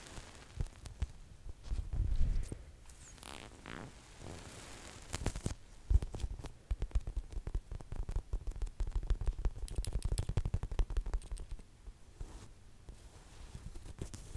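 Long nails tap and scratch the surface of a medium yellow lemon-half squishy toy made of soft, solid polyurethane foam, held close to the microphone. The result is a dense run of muffled, low thuddy taps mixed with soft crackling, scratchy rustles that come in uneven bursts.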